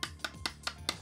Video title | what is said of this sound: Turbo Racing 1/76 Gyro Stabilized Drift Cars - Motion RC | when I tap it down to the hardwood you could hear that uh it's brass